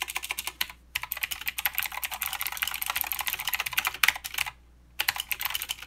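Fingertip typing with both hands on a mechanical keyboard with plastic keycaps and clicky blue switches. Bright, sharp clicks come in rapid runs, with short pauses near one second and after four and a half seconds.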